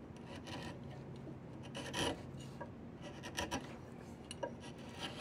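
A flat chisel scrapes along a solid diamond willow walking stick, producing rough, raspy scraping strokes with bright, breathy high-frequency texture. Short, irregular scrapes and a few sharper catches rise over a steady low background hum.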